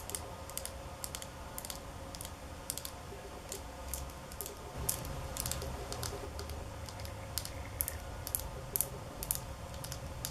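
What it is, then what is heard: Glass nail polish bottle. Long polished nails tap a small glass nail polish bottle with a black cap, partly filled with blue-silver polish, held in the hands. Quick, irregular, bright clicking taps with very short ring sit over a low steady background rumble, growing slightly louder after about five seconds.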